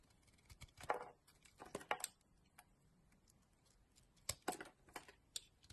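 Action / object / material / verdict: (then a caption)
scrape / bar of soap shaved with a blade / soap / none. A solid yellow Doxa bar of soap, about hand-sized, is held in a hand with long nails while its edges are carved and shaved with a utility knife blade. Quiet, crisp scraping cuts come in short irregular bursts with bright, crackly edges, separated by near-silent pauses.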